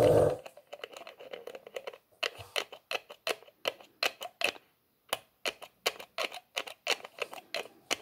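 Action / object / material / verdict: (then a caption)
scrape / small plastic bottle with plastic screw cap / plastic / none. Fingertips twist the white plastic screw lid of a small, clear plastic bottle along its threaded neck and rub it; the bottle has a white label, is held in both hands, and looks empty or nearly so. After a brief louder burst at the start, a quick run of short, crisp, bright clicks and scrapes follows, with a brief pause just before five seconds.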